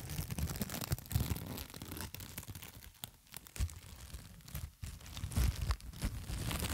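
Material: Plastic film.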